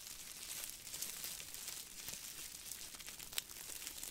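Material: Aluminum foil.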